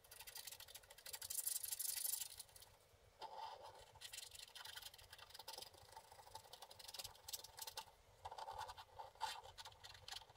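A wooden stick scratches the black layer off the blue areas of a flat, wax-coated scratch art card. The dry, bright scraping is loudest in a dense burst near the start, then continues as quieter, uneven strokes with short pauses.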